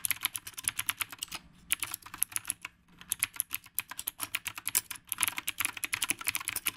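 Both hands type with the fingertips on a retro, typewriter-style mechanical keyboard with round plastic keycaps on a dark housing. The result is a steady run of sharp, bright clicks, 43 presses in all. There are brief pauses near 1.5 and 3 seconds.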